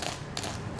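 Toasted bread crackles with crisp, bright clicks as it is handled or tapped, the crispy sound showing it is toasted through. Three short, dry bursts of crackling stand out over a low background, each fading almost at once.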